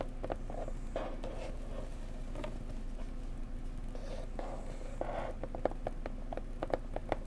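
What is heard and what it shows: A pretty blue decorative box is tapped gently up close with fingertips. Soft, quick, dry taps patter irregularly over a steady low background hum, each with a short hollow tone near 560 Hz that dies away almost at once. A few taps near the end are slightly sharper and louder.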